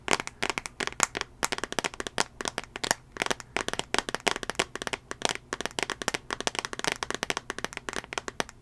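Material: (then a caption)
Glass. Fingernails tap on the glass touchscreen of a small, solid tablet in a teal plastic case, held near the microphone. A rapid, irregular run of sharp, dry clicks comes through, bright and crisp with almost no low end, each tap dying away instantly.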